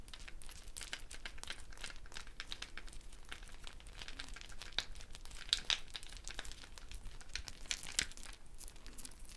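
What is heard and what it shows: Fingertips and nails rub and pluck the wooden beads of the net around a round, hollow, dried gourd shaker held in the hand. A quiet, continuous stream of soft, bright clicking and crinkling rattles is heard, with a few sharper clicks standing out near the middle and end.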